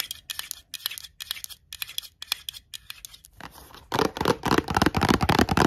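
Long glittery nails tap and scratch the flat top of a black metal twist-off lid on a full glass jar of pickled onions. Quick, bright, clicky taps come in uneven bursts for about four seconds, then give way to louder, denser, fuller scratching across the lid.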